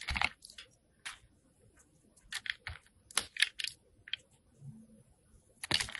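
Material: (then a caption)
Soap. A solid white rectangular Jergens soap bar, held in the hand, has its surface shaved with a metal box cutter blade. A quiet series of short, dry, crisp scraping bursts sounds bright and thin, with almost no low end. Each cut stops abruptly without ringing.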